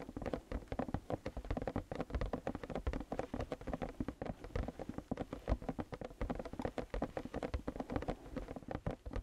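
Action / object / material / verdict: tap / closed cardboard toy box / cardboard / none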